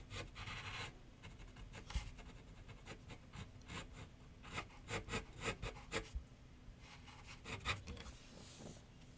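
A graphite pencil scratches sketch lines across a medium white canvas or paper board on a wooden easel while the other hand rests below it. Dry, papery rasping strokes come in quick bursts, with a cluster of louder, sharper strokes near the middle and another near the end, over a low background rumble.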